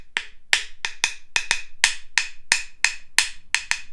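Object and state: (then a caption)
Wooden claves (rhythm sticks). A pair of light, solid wooden rhythm sticks (claves), about 20 cm long, is held in both hands and knocked against each other in a fairly steady beat. Thirteen sharp, bright wooden clicks are heard, each with a short pitched ring around 2 kHz that dies away almost at once.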